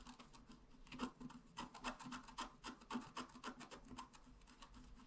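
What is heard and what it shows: A pointed wooden stylus scratches fast and continuously across a flat, black-coated scratch art card about A4 in size. Quick, uneven raspy strokes come in a steady stream with brief louder bursts. They carry a bright papery scrape over a faint low-mid tone around 250 Hz.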